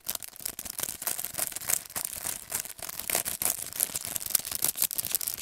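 A handheld paintbrush set in plastic and cardboard packaging has its clear plastic sleeve rapidly tapped and scratched with fingernails. The sound is a fast, dense run of crisp, bright clicks and scratchy plastic crinkles with almost no low end. Each tap cuts off instantly.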